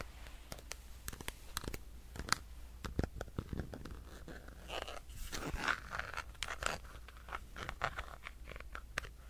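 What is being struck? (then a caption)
Plastic power bank. A solid black plastic power bank is scratched and tapped with fingernails. Sharp, dry clicks scatter across the whole clip between stretches of bright, crunchy scratching, all over a steady low hum.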